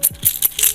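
A baby rattle toy, a gift from an aunt that keeps a baby quiet, is shaken in four quick bursts. Each burst is a bright, high-pitched rattle that dies away almost at once.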